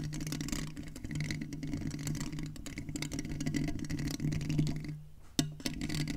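A silver metal USB condenser microphone's mesh grille is tapped and scratched by both hands with fingertips and nails, giving close, dense scratching and soft tapping over a steady low hum. Near the end the sound drops away briefly, then a sharp tap returns it.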